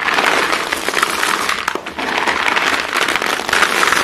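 Hands scoop up many short, solid pieces of white chalk and let them fall back onto the pile, then rake through it with their fingers. The result is a dense, continuous crackling crunch centered in the upper mids with a bright edge, and it briefly softens just before the two-second mark.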